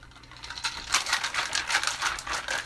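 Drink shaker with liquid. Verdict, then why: Full. A very full drink shaker with liquid inside is tipped gently rather than shaken hard, letting the contents slosh. After a quiet start, a run of bright, clattering rattles and light patters rises and continues to the end, with almost no low end.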